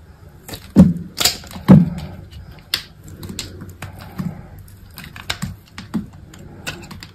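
A utility knife blade slices thin strips off a small remaining piece of solid white soap. The cuts come in irregular, soft, crisp strokes, each with a short dull low thud and a brief bright scrape that fades quickly, with a few stronger cuts early on and lighter shaving strokes after.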